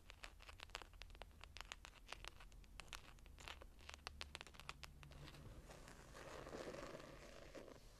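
Long nails and fingertips of both hands tap and scratch the ornate embossed foil patterned hardback cover of a small closed hardcover journal lying on a table. Quick, bright clicking taps come first, then give way to a softer, steady scratching rasp near the end, all at a low, close volume.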